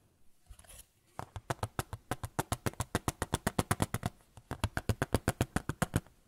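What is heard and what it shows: A small white photo frame is tapped with fingertips, starting with a few faint, soft handling sounds before a quick, steady run of about 35 dry, short taps. The taps have a low, hollow thump and almost no ring, with a brief pause near the middle before the tapping resumes.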